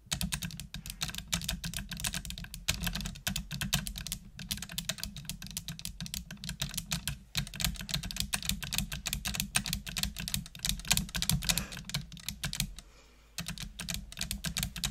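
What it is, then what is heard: Plastic computer keyboard. Long nails type continuously on a full-size black plastic computer keyboard with hollow plastic keys, producing rapid, bright clicking and clacking. A low hum runs underneath, and both fade out in a brief pause near the end before the typing resumes.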